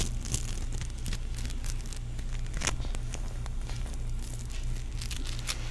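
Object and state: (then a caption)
Foam-bead play foam. A palm-sized, solid teal ball of sticky foam beads is held in one hand while fingertips rub and squeeze its surface. It gives a steady run of soft crackling and crinkling with scattered bright, sharp pops, over a constant low hum.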